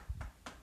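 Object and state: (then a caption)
Solid brick wall. Knocks on a solid brick masonry wall of a fort produce dull, low thuds with almost no ring. The thuds are mostly below 200 Hz, and the wall sounds solid.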